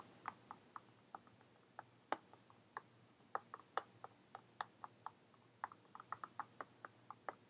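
Long painted fingernails tap on a brown faux-leather-covered hardcover journal with a metal owl emblem, held upright in the hands as a solid book. There are 26 quiet, dry, clicky taps in an irregular rhythm, with a mid-pitched tone that dies away at once. A faint steady low hum sits underneath.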